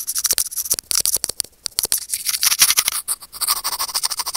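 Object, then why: Small plastic earphone inline microphone scraped by steel tweezers. Curved steel tweezers held in fingertips scratch and pinch the small hollow white plastic inline remote microphone of Apple wired earphones hanging on its cable. Dense, bright, crackling scrapes and rapid clicks come through close and loud, with almost no low end and very short decays.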